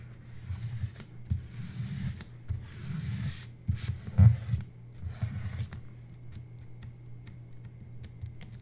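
Fingertips and long red-painted nails tap and rub a thin, flat paper sticker-book page with a jungle animal scene and numbered grid, lying on a white table beside an untouched second sheet. Soft, low thuds mix with papery rustling, with the loudest taps around the middle. The clip then settles into quieter, lighter clicks.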